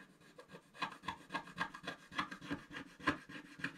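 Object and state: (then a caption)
Scratch-art paper being scraped. A wooden stylus scratches the black coating off a flat sheet of scratch-art paper. About 12 short, dry rasping strokes come at an uneven pace, each a quick gritty scrape with bright edges that stops almost at once.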